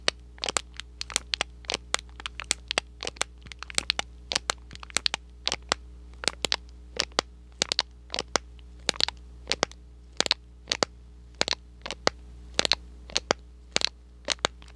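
A small, hollow, thin cardboard box printed red and white is squeezed and crinkled with fingers and scratched with short nails close to the microphone. About sixty sharp, bright crackling clicks come in quick irregular bursts, each dying almost instantly over a steady low hum.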